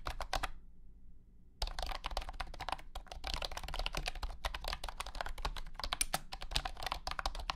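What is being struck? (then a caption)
Plastic keyboard. Fingertips type continuously on a compact white and blue plastic wireless keyboard with round hexagonal honeycomb keycaps and a hollow body. Rapid, bright clacky keystrokes are heard, briefly pausing before resuming. Beneath them sits a steady low hum.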